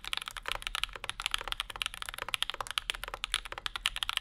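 Fingertips of both hands type on a compact Bauer 2 mechanical keyboard with Zykos switches, an aluminum plate and plastic keycaps, with a wooden wrist rest in front. A steady run of about two dozen sharp, bright keystrokes clacks out, each centered near 3 kHz with almost no ring and very little low end.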